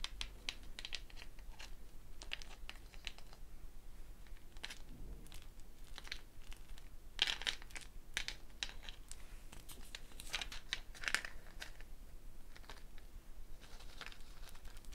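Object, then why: Dried gourd shaker with a net of wooden beads. A hollow dried gourd shaker wrapped in a wooden bead net is held up and moved while a hand slides and taps the beads. It makes a quiet, steady stream of soft, bright rattling clicks and crinkly bursts, with a few louder clusters.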